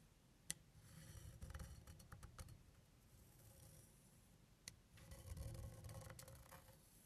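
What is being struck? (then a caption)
Metal finger labyrinth plate traced with a wooden stick. A thin wooden stick traces the raised grooved paths of a flat, round, silver metal finger labyrinth plate, about palm-to-hand size, lying on white cloth. Soft, quiet scraping and light clicking taps rise and fall in two stretches. Two sharp, brighter ticks stand out, one near the start and one past the midpoint.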